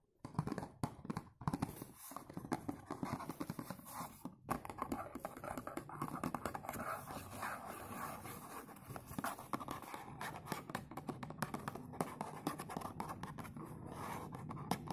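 Fingertips tap and scratch the textured front of a dark blue textured cardboard perfume box. Quick, dry, dull taps blend into a steady scratchy rustle with almost no ring. Brief pauses come near the start, then the sound runs on without a break.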